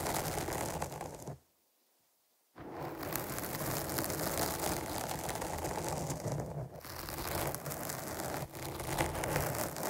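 Long nails on both hands scratch over the top and sides of a dark foam microphone windscreen, making a dense, crackly, rustling scrape with a deep rumble underneath and bright hiss on top. The scratching drops to silence for about a second early on, then resumes and continues steadily, with small dips, to the end.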